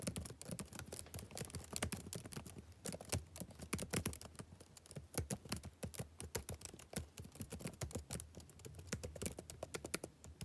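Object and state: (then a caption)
Plastic laptop keyboard. Fingertips type steadily on the plastic chiclet keys of a backlit laptop keyboard. The result is a fast, continuous stream of short, dry key clicks, each with a soft low thud and a bright tick that dies away at once.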